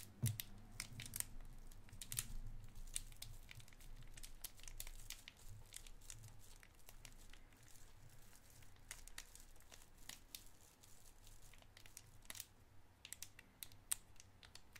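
A small clear cellophane wrapper with a white round candy inside is held between the fingers and crinkled for about 15 seconds. Dense, irregular crackling is heard, with quick bright snaps scattered throughout over a steady low rumble. The crinkles are loudest near the start and ease slightly after the first few seconds.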